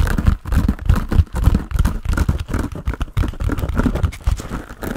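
A hand-sized grey textured foam sponge on a tan foam base, solid and porous, is held in both hands and tapped rhythmically with the fingertips. It gives a quick, uneven run of soft, muffled, low thuds with faint crinkly texture and almost no ring.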